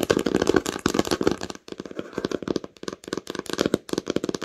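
Long nails rapidly tap and scratch the cover of a red cloth-bound hardcover book lying flat. The quick, dry taps have a muted mid-toned thud and a bright, scratchy texture, coming in dense bursts with brief pauses between them.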